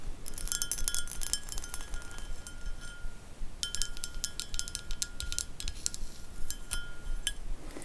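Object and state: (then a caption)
Textured glass bowl. A strawberry-textured glass bowl is tapped repeatedly, giving bright, chiming glass clinks with short ringing tones over a low background rumble. The tapping comes in two bursts separated by a brief pause.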